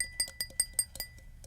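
A real glass parfait cup is tapped six times in quick succession, each tap giving a bright, high chime-like ring that fades fast, to show how it sounds different from a child's cup.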